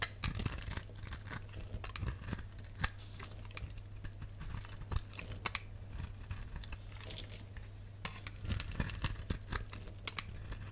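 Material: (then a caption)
Glycerin soap. A solid, pale, translucent rectangular glycerin soap bar is held in the palm while a box-cutter blade scrapes off white curled shavings. Dense, crisp scraping and crackling with bright, brittle detail runs throughout, with a few sharper snaps. A steady low hum sits underneath.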